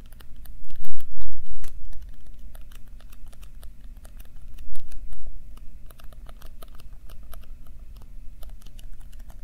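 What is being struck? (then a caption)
Thin-walled plastic cup. An empty, thin-walled red plastic party cup is held in both hands close to the mic and squeezed, crinkled and tapped with the fingertips. Quick, irregular bright clicks and crackles patter over a steady low hum, with louder crunching swells near the start and around the middle.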